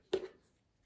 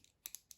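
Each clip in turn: First: A single short metallic clack near 380 Hz, then quiet: the knife's slider stays tight, without rattle. Second: Four sharp, high metallic clicks with almost no ring: the slider of an out-the-front knife rattling loosely.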